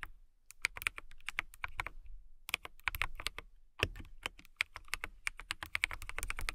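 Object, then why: Acrylic mechanical keyboard. Long nails type on a transparent acrylic mechanical keyboard with clear keycaps. Quick, sharp, bright clacks come in uneven bursts, with a short pause around the two- and four-second marks. Each keystroke dies away almost instantly, over a faint low thud.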